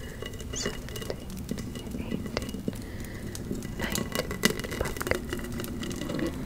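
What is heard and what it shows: A large round silver metal lid from a Bath & Body Works candle, embossed with a pumpkin pattern, lies on a fluffy rug while long acrylic nails tap and scratch across the raised relief. Quick, light taps and patters mix with soft scraping over a steady low murmur, with short, bright clicks that die away almost at once.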